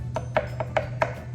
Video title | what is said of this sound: Slap Centering a bowl. How to!! | If you tap it and it sounds like something that's hollow, like a piece of plastic, then you know that you're almost all the way through.